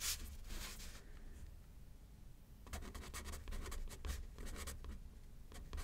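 A pen tip scratches across a thin paper card resting on a pad as someone writes left-handed. Soft, bright scratchy strokes come in irregular bursts, with a quieter lull in the middle before the writing picks up again over a faint low hum.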